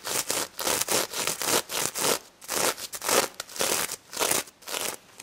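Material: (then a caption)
Plastic sequins. Long nails scratch around the snout and across the plastic sequins of a pink sequin-covered stuffed toy pig. Bright, crackly rasps come in short, fairly even bursts with brief quiet gaps between them, and almost no low end.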